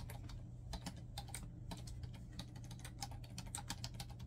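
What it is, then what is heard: Plastic laptop keyboard. Fingertips type quickly on a black plastic laptop keyboard, producing dense, rapid key taps. Each tap is a short, bright click over a steady low hum that runs through the whole clip.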